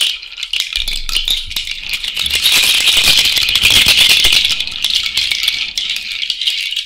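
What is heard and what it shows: A cowrie shell bracelet is shaken vigorously by hand, including overhead, giving a dense, continuous bright clatter of shells knocking together. The rattling swells to its loudest in the middle and stays high-pitched throughout, with almost no low end.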